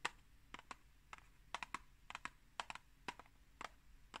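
Long green acrylic nails tap and scratch the face of a tall, rectangular, hollow Pukka tea box made of printed cardboard, held upright in one hand. About fifteen quiet, sharp, dry clicks land in an irregular rhythm, bright and crisp with almost no ring. They sound much like typing on a keyboard.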